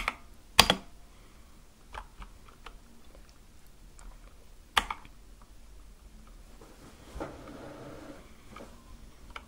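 Sparse fingertip keypresses on a compact Akko mechanical keyboard with white and light-blue plastic keycaps on a dark case. About five separate, bright, sharp clicks with very short decay are heard, two much louder than the rest, with soft faint tapping and a brief rustle in between.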